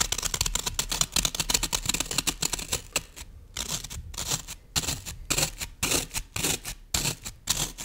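A solid green floral foam brick has its top surface scratched and pressed by long nails, then is held at the sides by hands. The result is a fast run of dry, crisp, bright scratching and crunching bursts: dense at first, then thinning into separate clusters with short pauses between them.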